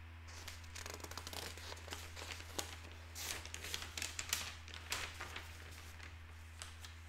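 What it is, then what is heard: Paper newspaper. Fingertips turn and smooth down the pages of a large folded broadsheet newspaper made of thin paper, lying open on a wooden table, with a pen resting unused on a notepad beside it. Soft, bright paper rustles, crinkles and swishes rise and fall in irregular bursts, with a few sharper crackles, over a steady low hum.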